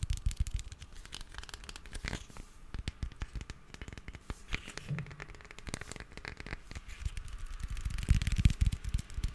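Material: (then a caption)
Metal. A hand-sized, hollow, red cylindrical metal aerosol spray can with a printed label, fill level unknown, is held in both hands and scratched and tapped along its side with fingertips and short nails. The result is a dense, irregular run of dry crackly scratches and quick taps over soft low thumps, each dying away almost at once.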